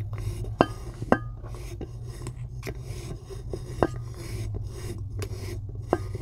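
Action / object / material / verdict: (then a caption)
scrape / block of chalk / chalk / none. Long acrylic nails scratch and tap across the already pitted top of a solid white chalk block. A soft, dry rasping continues throughout, broken by a few sharp, bright clicks from the nail taps, over a steady low hum.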